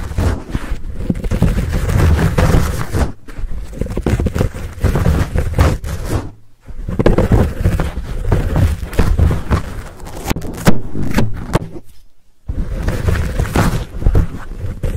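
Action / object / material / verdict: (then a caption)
scrape / foam microphone windscreen / foam / none. Short nails scratch and fingers squeeze a fuzzy black foam windscreen on a Blue Yeti microphone. The result is a dense, close, muffled rumble of scraping and crackling, heaviest in the deep lows. It is broken by brief near-silent pauses around 3, 6.5 and 12 seconds.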